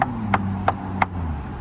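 Four quick knocks on the bronze-brazed steel roof-to-body joint of a Bentley Mulsanne give short, dull taps with a midrange tone and almost no ring, over a low steady hum. The joint is completely solid, with no flex or movement.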